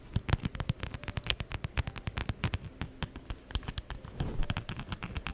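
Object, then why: Plaid fabric and faux-leather wallet. Long nails rapidly scratch and tap across the plaid fabric and brown faux-leather surfaces of a wallet held close to a microphone. The result is a dense run of dry, crackly, zipper-like scrapes with sharp bright clicks over a thick low thump, each stroke dying away almost instantly.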